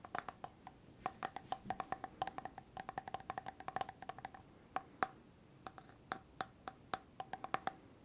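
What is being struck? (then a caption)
Plastic cosmetic jar with metal-look lid. Fingertips and nails tap on the silver lid and rim of a medium white plastic hair mask jar held sideways. About 45 quick, dry clicks and taps come in uneven bursts, each with a faint, short ring near 760 Hz and a bright edge, over a quiet background.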